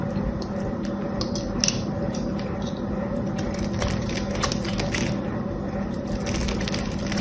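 A small knife cuts and scrapes a blue solid soap bar with gold paint on one side, and crumbly pieces fall off. A steady, dense crunching and scraping texture runs throughout, with bright crackles and a low rumble beneath. A couple of sharper snaps stand out.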